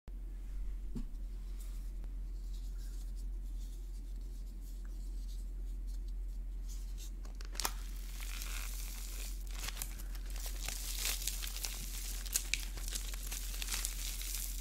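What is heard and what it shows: A fist-sized ball with a thin white plaster shell over a core of small pink foam beads is squeezed and cracked with fingertips and thumbs. After several quiet seconds with only a steady low hum and faint rustling, the shell crunches and breaks into flakes with sharp, bright crackles. The foam beads crinkle out as the crushing continues.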